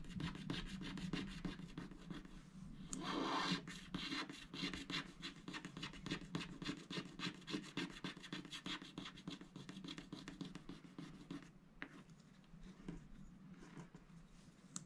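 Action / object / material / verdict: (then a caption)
scrape / coated scratch-art paper and wooden stylus / coated paper / none. A wooden stylus scratches the upper motif on a coated scratch-art paper sticker sheet. Quick, uneven strokes make a dry, raspy scratching that swells around the third second, then continues more quietly over a low steady hum.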